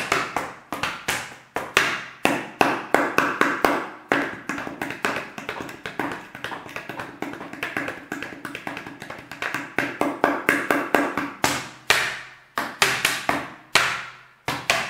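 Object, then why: Plastic water bottle. A large, clear, hollow and apparently empty plastic water bottle is held in one hand and tapped with the fingertips of the other. Quick, irregular fingertip taps land in bursts throughout, each a short hollow knock with a mid-low body and a bright clicky edge that fades almost at once.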